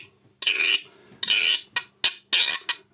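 A thin wooden stick is scraped back and forth along the ridges of a hand-held painted wooden guiro, a hollow ridged tube about 30 cm long with red and green bands. Seven bright, rasping strokes are heard, two longer ones followed by shorter, quicker scrapes, each separated by brief silence.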